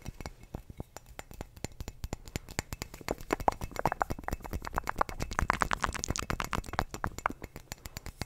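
Fingertips and nails tap quickly on the thick glass base and body of a clear glass wine bottle held sideways. The taps are short, dry clicks with a brief glassy ring. They grow louder and more resonant through the middle of the clip before easing back to lighter taps.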